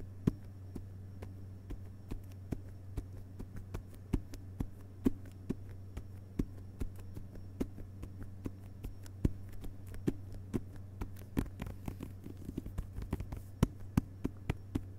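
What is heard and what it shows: Fingerpads tap steadily on the glossy paper dust jacket of a hardcover book lying flat on carpet. The many soft, dull taps end almost instantly, over a constant low hum.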